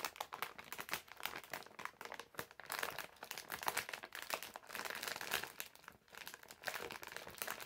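A medium printed plastic-film bag full of candies is held in both hands while fingertips and nails crinkle and scratch it. A dense, continuous crackle of sharp crinkles and scratchy rustles comes through, bright and thin with almost no low end, at a quiet level that swells and dips over the clip.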